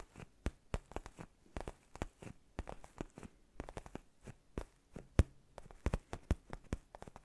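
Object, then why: Padded faux-leather neck pillow. Fingertips and nails scratch and tap a black padded faux-leather gaming chair neck pillow held in both hands. The result is a quick, irregular run of dry, crackly scrapes and taps that die away almost instantly. Most of the energy sits in a soft low thud beneath the brief bright clicks.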